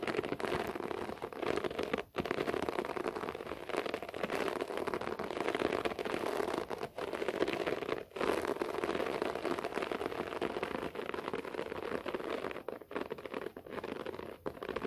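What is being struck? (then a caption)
Short-pile floor carpet. Clawed fingertips and nails scratch a beige short-pile floor carpet, making a steady, dense, crackly rasp centered in the low mids. Brief pauses near 2, 7 and 8 seconds break the otherwise continuous scratching.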